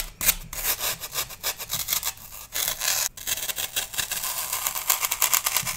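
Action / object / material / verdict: scrape / floral foam block scraped with a metal knife / floral foam / none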